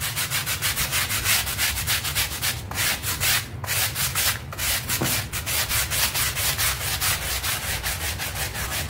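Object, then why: Textile rug scrubbed with a stiff bristle brush. A stiff bristle hand brush scrubs a small, dirty pink textile rug covered in white soapy powder and foam, moving in quick back-and-forth strokes. The result is a steady, rhythmic, bright bristly scratching, with brief gaps between some strokes.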